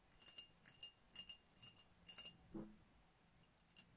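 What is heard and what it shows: Long nails tap on the body of a dark glass sparkling wine bottle with a foil top, making quick bursts of bright, clicky taps with a faint glassy ring. The taps come in small clusters with short pauses between them, and each one dies away fast. The sound is quiet and high, with almost no low end.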